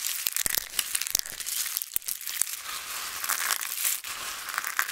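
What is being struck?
Pile of dried soap flakes.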